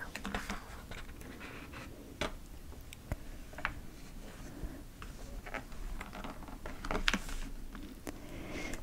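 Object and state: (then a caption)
Glossy paper magazine. Fingertips grip and turn the cover of a large, thin 2024 TIME Pokémon special-edition glossy paper magazine lying flat, then tap and rub as they slide across the open glossy pages, with game cartridges beside it left untouched. Soft, quiet papery flips, scratchy rubs and light taps come and go over a low, steady rumble.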